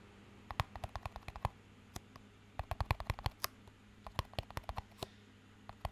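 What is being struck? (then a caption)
Small plastic cup. A small, empty clear plastic cup with a green band is held up and tapped and scratched with fingertips. Quick, dry clicks come in irregular bursts with soft scratchy rustles between them, over a faint, steady low hum. Each tap stops almost at once, with no ring.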